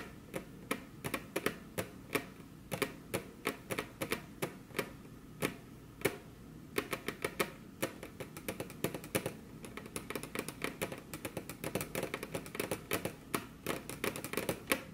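Very long curved fingernails on crossed hands tap their tips against a flat, solid, glossy dark-brown wood-grain table top. The sharp, dry clicks are bright and die away almost instantly. They start fairly spaced out and grow quicker and denser toward the end.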